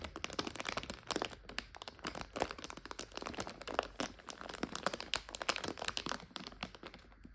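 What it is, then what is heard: Plastic bag of dried egg noodles. Long fingernails scratch and pinch a clear plastic bag full of dried egg noodles, its back side facing out. The crinkly plastic gives a steady run of bright crackles and crunchy rustles with short, sharp, quickly fading snaps, and the noodles shift faintly inside.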